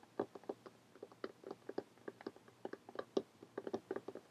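Long painted fingernails tap rapidly across a closed, lime-green cloth or paper hardcover book lying flat. The result is a quiet, uneven run of short, dry clicks with a muted, hollow knock around 390 Hz, each dying away almost instantly.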